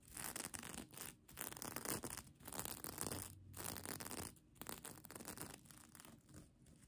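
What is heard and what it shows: Long nails scratch quickly over the plastic sequins of a folded sequin mermaid tail blanket held in one hand. The result is bursts of dense, bright, crackling scratches broken by short pauses, with the rustling fading somewhat toward the end.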